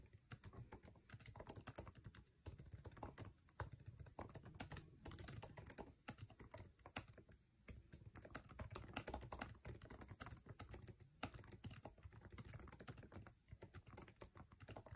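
Fingertips type fast on a MacBook Air keyboard with plastic keycaps set in an aluminum chassis. The result is a dense, continuous stream of quick, dry key clicks with a soft low thump under each press and a bright clicky top. Each tap dies away almost instantly.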